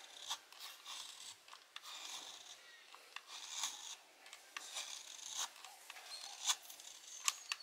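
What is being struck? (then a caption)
Laundry soap bar. A solid blue laundry soap bar held in the palm is carved with a small metal blade with a blue handle, and repeated scraping strokes curl off soap shavings. The quiet, dry, rasping scrapes are bright and hissy with no low end, broken by a few sharper crisp clicks as the blade catches and lifts off.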